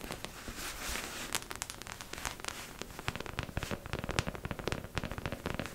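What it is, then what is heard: Plastic mannequin head tapped with nails. Long acrylic nails tap rapidly on the top and temples of a beige, matte mannequin head, likely hollow plastic, held up close. About thirty quick, dry clicks sound in a fast, uneven stream, each bright and snappy with almost no ring, over a faint low rumble and hiss.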